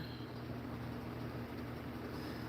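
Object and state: Nothing is struck.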